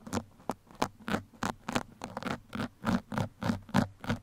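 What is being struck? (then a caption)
Foam microphone windscreen. Two metal pins scratch across a black foam microphone windscreen in about 14 short, rough strokes at an uneven pace of roughly three per second. Each stroke is a breathy, broadband scrape with a bright top over a low, steady hum.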